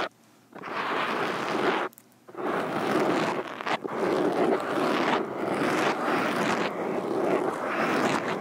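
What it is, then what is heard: Foam microphone windscreen scratched with metal fingerpicks. Both hands wearing metal fingerpicks tap and scratch the surface of a large black foam windscreen covering a standing microphone. After a brief silence, a dense, scratchy rustle fills the mids and highs, pauses briefly, then continues in a near-constant stream with uneven surges and dips.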